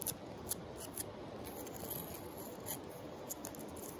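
A palm-sized flat, rough-grained tan sandstone river rock, solid and held in a hand while resting on a pile of larger river rocks, is scratched and tapped by long acrylic nails. A steady dry rasp of scratching runs throughout, broken by several short, sharp clicks as the nails strike the stone.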